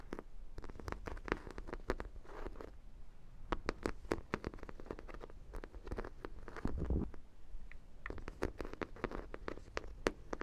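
A large, hollow, yellow sprinkle-donut dog toy, likely vinyl, is tapped and scratched with long black nails. Many quick, soft, dull taps with a hollow low body come in irregular bursts, mixed with faint scratching. Each tap dies away almost at once.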